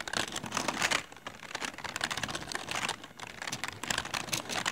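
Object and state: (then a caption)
Plastic computer keyboard being typed on. Both hands type quickly on a full-size plastic computer keyboard with rainbow LED backlit keys, resting on a patterned mat in a dark room. The fingertips produce dense, bright clicking and clacking with short, dry key strikes, easing briefly around the one- and three-second marks before picking back up.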